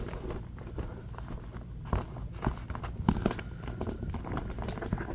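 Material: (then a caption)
Woven polypropylene. Fingertips and nails grip and scratch the top edge of a large printed Aldi reusable tote bag made of woven polypropylene plastic, held on the lap. A steady, low-weighted crinkly rustle and scratching runs throughout, with a few sharper crackling grabs standing out along the way.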